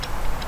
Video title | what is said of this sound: If You Like 'em "Thicc", This Sword is for You! | It seems tight, but there's a little bit of rattle.